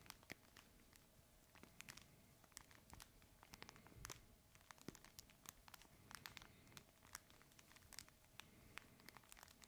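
A red fabric plush crinkle toy is held horizontally in both hands and squeezed and scratched with the fingertips. It makes a steady, quiet crinkling rustle full of sharp, bright crackles and snaps that recur irregularly throughout.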